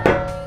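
A single knock on a bare sheet-aluminum rear bulkhead panel, one of the panels separating the cockpit from the engine bay, tested before any sound-deadening material is applied. The panel rings with a clear metallic tone around 363 Hz that sustains for about a quarter second before slowly fading.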